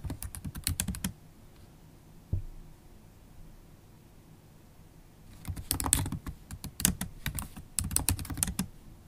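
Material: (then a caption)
Plastic. Long stiletto acrylic nails and fingertips type on a MacBook Pro laptop keyboard with low-profile black plastic keys set in a silver aluminum body. A quick flurry of sharp, bright clicks with a low thud underneath is followed by a single tap and a quiet pause, then several more bursts of rapid typing. Each click is short and dry.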